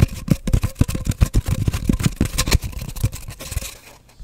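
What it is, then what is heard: Empty cardboard tube, hollow. Fingertips and nails tap and scratch rapidly on an empty, hollow cardboard paper towel roll held horizontally as the tube is moved toward the camera. Quick, irregular, dull hollow thumps with a low resonance and almost no ring mix with soft scraping. The sound fades into quieter scratching near the end.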